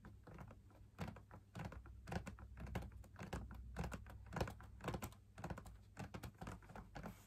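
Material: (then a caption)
Laminated fabric. Fingers tap the outer wall of a hollow, perforated, fabric-laminated drum lamp shade in an uneven rhythm. Each tap is a soft, dull, low thump that dies away almost at once, over a faint steady low hum.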